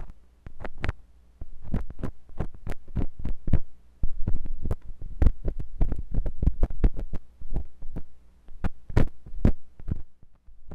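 A metal drill-bit tool scratches inside the canal of a white silicone binaural microphone ear. Rapid, uneven strokes come through as dull, heavy thumps and rubbing scrapes with very short decay, over a low, steady hum. The sound is deep and pressure-like, with almost no high end.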